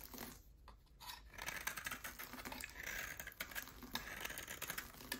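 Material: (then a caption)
Soap. A solid oval bar of hard soap with a black coating and a pale yellow core is held in one hand and shaved with a utility knife blade. Quiet, bright scraping and crumbling come through as a steady run of crisp, short clicks and rasps with little low end.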